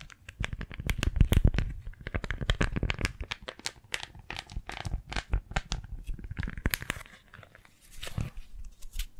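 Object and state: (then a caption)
Beeswax-coated fabric food wrap. A thin pink floral beeswax-coated cloth food wrap, folded small and held in both hands, is squeezed, gripped and crinkled with fingertips and long nails, then flattened. It gives a dense run of dry, crackly crinkles and short stiff snaps, heavy in low thumps with bright crackle on top. The sound briefly thins to a quieter rustle before the crinkling picks up again.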